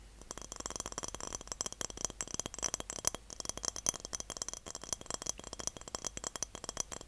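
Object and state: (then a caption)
Glass jar. A medium glass jar is tapped and rattled in a rapid, uneven stream of light clicks and clinks lasting about seven seconds. The sound is bright and high, with very little low end, and each tap dies away almost instantly.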